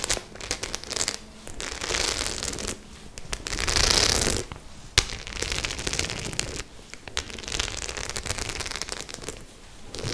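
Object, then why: Studded faux leather clutch bag. A white studded faux-leather clutch bag is held in both hands while long nails scratch and tap across its studs. Dense, bright crackling scrapes come in uneven bursts, with the loudest rasping stretch around four seconds and a single sharp tap just before five seconds.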